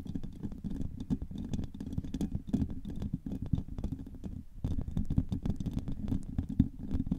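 Long manicured nails on both hands tap and scratch the rounded, hollow woven steel mesh grille of a large silver USB microphone. The result is a dense, fast patter of dull, bassy taps and rough scratches, with a brief pause about two-thirds of the way through before it continues.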